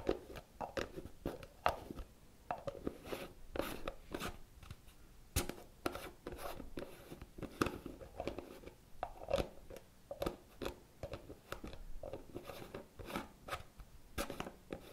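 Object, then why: Plastic cosmetic jar with screw lid. A medium round pale green plastic cosmetic jar with a lime-green plastic screw lid is held in one hand while the fingertips and nails of the other hand scratch and tap the top and edge of the lid. Quiet, dry clicks and crunchy scratching sounds come in quick, uneven bursts, each one dying away almost at once.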